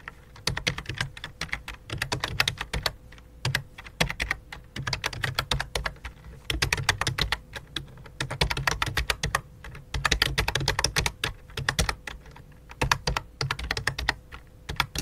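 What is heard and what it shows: Fingertips type on a full-size white and light-blue plastic keyboard with a hollow plastic body, resting on a black cloth. Quick bursts of short, dry clicking taps come with brief pauses between them. Each tap has a bright click over a soft low thud, and a faint steady hum sits underneath throughout.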